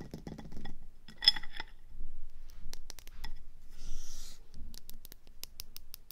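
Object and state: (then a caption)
Ceramic planter pot. Long nails tap at a slow pace on the orange rim and grey body of a ceramic planter pot resting on a table. Bright, short clinks ring out with almost no sustain, broken by a brief scratchy rustle in the middle, all over a faint low rumble.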